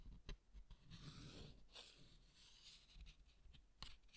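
Fingertips and nails scratch and rub the textured front of a closed green cardstock greeting card with a harp design, held in both hands. The result is a quiet, dry scratching and rustling with a bright papery hiss, broken by a few soft taps and low handling bumps.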